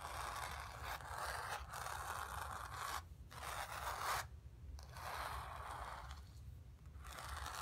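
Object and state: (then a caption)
Fingernails scratching painted canvas. Long nails scratch and rub across the surface of a painted stretched canvas, producing a steady, dry scraping texture centered in the midrange. Several long strokes are separated by brief pauses, with a constant low rumble underneath throughout.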